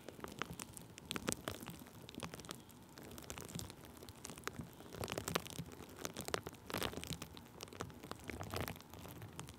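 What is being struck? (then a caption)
Thin plastic bubble wrap rubbed with a wooden stick. Thin clear plastic bubble wrap stretched over a microphone is rubbed and pressed with a wooden stick held in the fingers. The result is a steady, quiet stream of crinkling and crackling, with dense bright, sharp clicks and snaps over a soft rustling bed. A few louder bursts of crackle stand out along the way.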